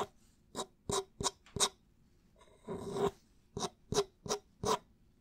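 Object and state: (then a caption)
Plastic water bottle scratched. Fingertips and nails scratch and rub along a clear plastic drink bottle with an orange cap and a label, held sideways near the cap in front of the microphone. A series of short, dry, raspy scratches is interrupted midway by one longer, steadier rub. Each scratch has a hollow plastic tone around 400 Hz with bright crackle on top.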